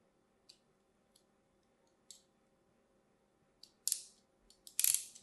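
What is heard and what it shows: A thin metal blade cross-hatches a solid, hand-sized Cream Absolut bar of soap held in the hand, making a scratching, cutting motion. Nine short, bright, crisp scrapes come through. The first few are sparse and quiet, and the last ones grow longer and louder, each with a hissy fade over a faint low hum.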